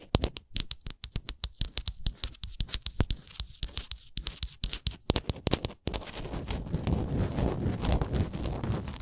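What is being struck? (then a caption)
Small wooden ornament. Long nails tap and scratch along the stepped edges of a small, solid, printed wooden Canada souvenir ornament. For the first six seconds there is a quick run of sharp, dry taps with a low, woody thump and a bright click on each. Then it changes to a steady, rough scratching that keeps going to the end.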